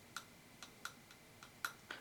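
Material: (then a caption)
Steel. A second steel wood chisel is tapped lightly against the teeth seven times, each a short, dry tick with a faint ring centered near 1.4 kHz and upper overtones. Its ring is slightly higher than the first chisel's, indicating even harder steel.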